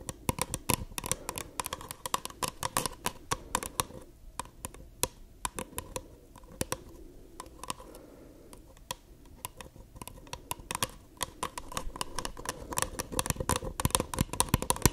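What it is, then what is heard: Empty paper cup. Long acrylic nails tap and scratch the sides and base of a small, hollow, empty white paper cup with a dotted print, held upside down. Quick, dry clicks come in dense bursts with a soft scratchy rustle underneath; the tapping thins out and quiets in the middle, then picks up again fast and bright toward the end.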